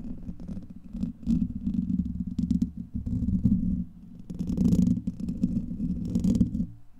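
Fingernails of both hands scratch across the hollow, rounded steel wire-mesh head of a large condenser microphone. The result is a dense, low, rumbling scrape centred around 200 Hz, with faint high crackles. It swells in bursts, eases briefly near the four-second mark, then builds again before fading at the end.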